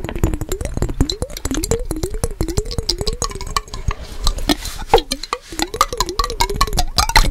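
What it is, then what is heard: Glass jar partly filled with water. Fingertips and nails tap quickly on the glass sides of a small clear glass mason jar with a yellow lid, partly filled with water and held in both hands close to the mic. The result is a dense run of short, bright clinks over a ringing tone that wavers up and down around 300 to 500 Hz, with a few softer, hissier moments in between.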